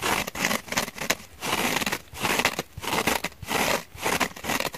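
Long painted fingernails scratch and press the fibrous scouring side and porous foam edge of a palm-sized purple cellulose/foam kitchen sponge, lightly dusted with cornstarch and held over a glass bowl. Dry, bright scratchy crackles and crinkles come in repeated swelling bursts with brief quieter gaps, with little low end.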